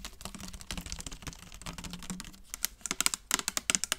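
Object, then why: Clear plastic trigger spray bottle. Long nails rapidly tap the body of a clear plastic trigger spray bottle held up in the air. A dense run of soft, quick clicks with a faint low hum gives way to sharper, louder, bright plastic taps that each stop almost instantly.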